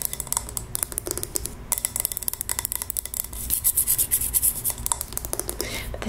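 A pink-labelled glass scented candle jar with a metal lid, full of wax, is held in the hand and scratched and tapped with long nails. Quick, dry taps with a slight glassy tone near 1 kHz alternate with bright, rasping scratches that swell loudest in the middle of the clip. Each tap dies out almost instantly, with no ringing.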